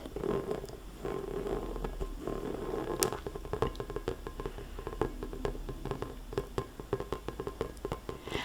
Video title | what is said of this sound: ASMR - Three More Balls 🔴🟡🔵 Tapping & Tracing (Soft Spoken) | the sound of a ball that's inflated properly you know it has that it almost has a ring to it